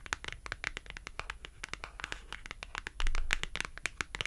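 A thin, solid, colorful printed cardboard shopping tag is held edge-on in one hand while long acrylic nails scratch and tap along its edge. Rapid, crisp, bright clicks and scratchy strokes fire in quick, uneven succession over a soft low rumble, with no ring after each tap. The sound swells louder for about a second partway through before settling back into lighter tapping.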